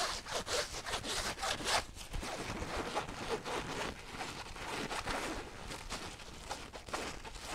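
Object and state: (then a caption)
Fabric zipper pouch being scratched. Long nails scratch the fabric surface of a flat teal zippered pouch, first as it lies on a table and then as it is held up. The result is a steady run of dry, bright scratching strokes at an irregular pace, with brief rasping bursts and little low end.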